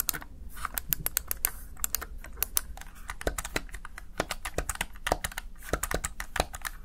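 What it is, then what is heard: Plastic gaming keypad. Fingertips press the keys of a Razer Tartarus Chroma plastic gaming keypad in a rapid, uneven stream of crisp, bright plastic clicks and taps. Each press is short and dry with no ring, set over a faint steady low hum.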